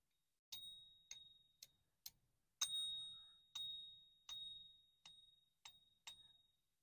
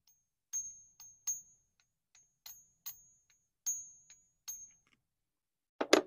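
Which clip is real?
The first.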